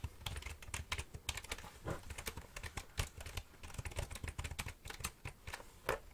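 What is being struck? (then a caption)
Plastic computer keyboard. A full-size black plastic computer keyboard with a hollow body is held upright near the microphone while fingertips and nails press and tap its plastic keys. A quick, uneven run of short, dry clicks follows, each with a low hollow thump under a bright snap, dying away almost instantly.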